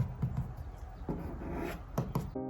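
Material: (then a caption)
Laminate. Light taps on the thin plastic laminate side and top panels inside a cabinet, which have no wood behind them, unlike the solid wood frame. Each tap gives a short, low, slightly hollow knock that dies away almost at once. The panels sound thin and hollow.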